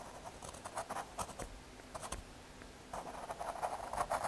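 A graphite pencil scratches short strokes across the surface of a small square of thin, solid brown MDF fiberboard. Soft, dry scraping bursts centered in the midrange come in quick clusters, pause briefly, then return in a denser, slightly louder run at the end.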